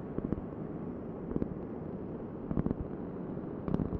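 A large, thin, solid round cork board held in both hands is tapped and scratched with long nails. A steady, dull, low-to-mid rustling scratch runs throughout, broken by short clusters of soft, muffled taps that die away almost instantly.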